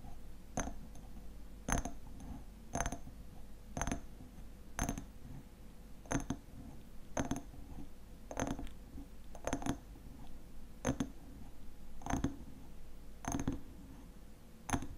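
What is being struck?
Small glass jar filled with honey.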